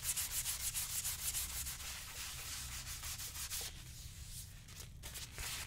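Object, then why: Leather boot rubbed with a sponge. A brown leather lace-up boot, worn on a foot and resting on a shoe-shine stand, is rubbed with a yellow hand-held sponge in a steady motion across the toe and vamp. Quick, bright, scratchy strokes repeat rhythmically at first, then blend into softer, continuous rubbing over a low steady rumble. A brief pause comes near the end before the rubbing picks up again.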